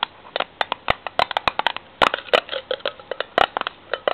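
Long fingernails tap and scratch rapidly on the ridged steel end of a tin can lid held upright. About two dozen sharp, bright metallic clicks come in quick, uneven bursts with almost no ring, while faint scratching fills some of the gaps. There is very little low end.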